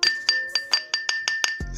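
A porcelain soap container, used because this type of soap should not be kept in plastic boxes, is tapped eight times in a steady rhythm. Each tap gives a bright, glassy clink with a clear ringing tone near 1.8 kHz that fades quickly, followed by a short low rumble at the end. The sound confirms the container is porcelain.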